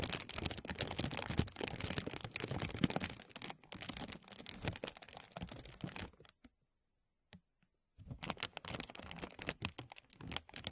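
Fingertips pinch and pull a thin translucent plastic bag stretched over a mesh microphone, producing dense, bright crackling crinkles close to the mic. The crinkling runs continuously for about six seconds, drops to near silence for almost two seconds apart from a faint tick, then resumes just as busily to the end.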